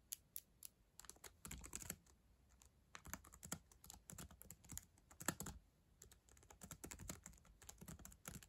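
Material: Plastic.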